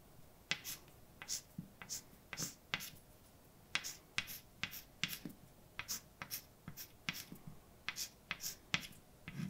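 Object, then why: Chalk on a slate blackboard. A hand writes with white chalk on a large dark blackboard, producing a quick, uneven series of sharp, bright taps and short scratching strokes. The dashes land as crisp clicks that die away almost instantly, with faint hiss between them.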